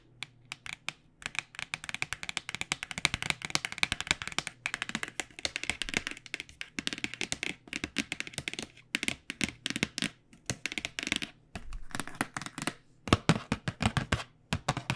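Fingernails and fingertips tap rapidly on the edge and back panel of a black cardboard box of paint pens. The taps are short, dry and bright, with almost no ring, and come in quick bursts separated by brief pauses. A faint low hum runs steadily underneath.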